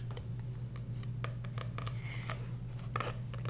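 Long nails tap and scratch across the card cover of a small, solid, dark green paperback book held upright. Quick, bright clicks mix with short dry scraping strokes over a steady low hum.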